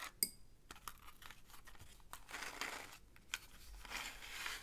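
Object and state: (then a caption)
Cardboard matchbox with wooden matches. Fingertips slide the inner drawer of a small printed cardboard matchbox, a box of 240 full of wooden matches, open so it rubs against the sleeve. A sharp, bright click opens the clip, followed by quiet, dry, scratchy rubbing and brief rattles of the matches shifting inside, mostly high and papery with little low end.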